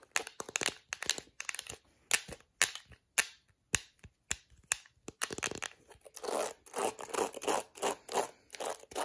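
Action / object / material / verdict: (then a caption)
scrape / plastic hairbrush with plastic bristles / plastic / none. Long acrylic nails scratch and snap across the dense black plastic bristles of a plastic detangling hairbrush. Sharp, bright clicks come in quick bursts with silent gaps between them. Toward the end they blend into denser, continuous scratchy rustling.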